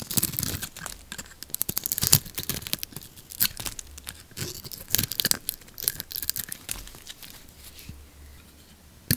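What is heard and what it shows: A metal blade scrapes the blue lacquered coating off a solid bar of orange soap held in the palm. Dense, crisp scraping and crackling bursts come in quick, uneven strokes, bright and tearing-like with little low end. The strokes thin out and quiet toward the end before one last sharp scrape.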